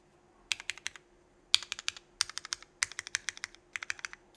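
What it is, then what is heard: Mechanical keyboard with ABS keycaps. A 65% mechanical keyboard with Cherry Vintage Black switches, an aluminum plate and red and black GMK Burgundy ABS keycaps is tested by one fingertip pressing individual keys. About 26 sharp, bright clacks come in quick bursts with short pauses between, each dying away almost instantly over a faint steady hum.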